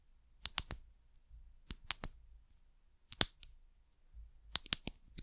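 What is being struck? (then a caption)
Ridged plastic bottle cap. Long nails tap and scratch the top of a white ridged plastic cap on a small amber glass bottle. Eleven sharp, bright clicks come in uneven clusters of two or three, with quiet pauses between them and a faint low rumble underneath.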